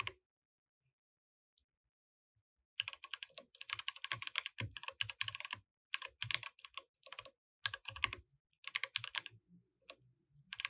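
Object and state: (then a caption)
Plastic mechanical keyboard. Fingertips type on a compact mechanical keyboard with plastic keycaps, while the mouse is left untouched. After a brief click and nearly three seconds of silence, bursts of rapid, crisp, bright clacking keystrokes begin. The bursts are separated by short pauses, and each click dies away almost instantly.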